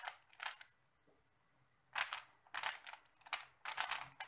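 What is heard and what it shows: A small, solid 3x3 plastic Rubik's cube with pastel stickerless tiles is held in both hands while fingertips rapidly twist its layers. Bursts of bright, dry clicking and scraping turns come in quick flurries, broken by a pause of about a second. The sound is thin and high with no low end.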